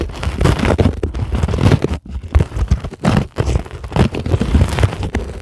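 Long glittery acrylic nails scratch a flat, solid, white closed-cell polyethylene foam sheet. The result is a steady run of dull, low, muffled scratching and crunching strokes, with brief quiet gaps around the two- and three-second marks.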